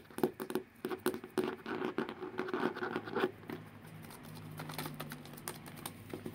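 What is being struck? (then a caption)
Hardcover book cover. A solid blue hardcover book, about notebook size, is held upright while fingertips and nails scratch and tap on its cover. Quick, irregular taps and scratches with a dull low-mid tone come first, then ease into a softer, steady scratching before a few more light taps at the end.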